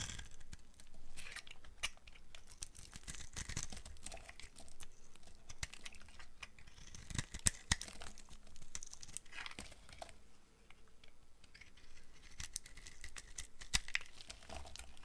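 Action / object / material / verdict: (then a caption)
scrape / bar of soap / soap / none. A box cutter blade shaves curled white strips off a solid rectangular bar of dry soap with brown and white stripes, held in one hand. Continuous dry scraping and carving is heard, with crisp, crumbly bursts of crinkling texture and a few sharper, brighter scrapes.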